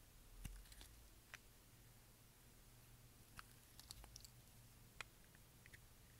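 A utility knife blade shaves curls off the edge of a brown translucent solid bar of dry soap. Sharp, brief clicks and crisp scraping snaps rise bright over a low steady hum, with the strongest cuts standing out clearly at a few points.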